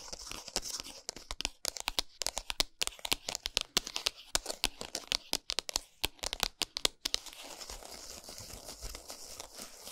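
Long nails rapidly scratch and tap the printed cardboard packaging of a flat Lindt chocolate bar lying on a towel. Dozens of quick, dry, bright clicks and scratchy rasps come in an uneven stream for about seven seconds. They then give way to a softer, continuous scratching across the cardboard.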